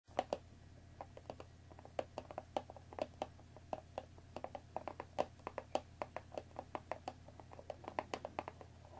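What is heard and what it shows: Long painted fingernails of both hands tap on the top of a small, hollow rectangular cardboard box of Earl Grey tea bags, full of tea bags and standing on a wooden table. A quick, irregular run of short, dry, hollow clicks sounds over a faint, steady low hum, each tap dying away at once.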